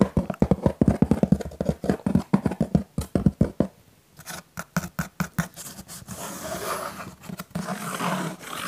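Fingertips and nails tap and scratch the front and side of a hollow, pink printed cardboard Pizza Hut "My Box" held in both hands. A quick run of dull, low, papery taps fills the first four seconds. It gives way to sharper clicks and a steady, hissy scratching across the cardboard.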